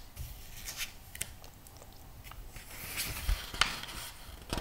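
Fingertips rub and turn the glossy paper pages of a thick magazine lying open. Soft, steady rubbing is broken by a few crisp, bright swishes and short sharp paper snaps, over a faint low rumble.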